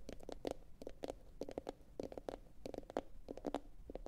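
A medium, hollow, empty blue glossy bowl, likely ceramic, is turned upside down and tapped with long pointed acrylic nails from both hands. Quick, quiet, irregular clicky taps come in small clusters, each with a short hollow tone around 535 Hz that dies away almost instantly.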